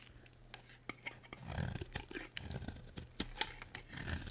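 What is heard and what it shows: A solid, dry pink bar of soap held in the hand is carved with a metal utility blade. Short, crisp scraping cuts and sharp bright clicks come in uneven bursts over a soft, low rumble, each stroke dying away almost instantly.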